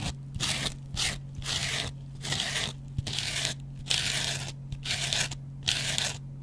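A metal double-edge razor blade scratches and scrapes the yellow cellulose foam of a hand-sized dry kitchen sponge with a green scouring pad. Bright, crunchy rasping strokes come in uneven bursts separated by short quiet gaps, over a steady low hum.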